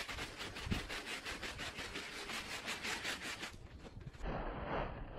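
A handheld bristle brush scrubs back and forth across a small, wet, foamy woven fabric rug lying flat on the floor. Quick, rhythmic, bright rasping strokes with a wet, frothy hiss run steadily, thin out briefly near the end, then return with a fuller, fizzier sweep.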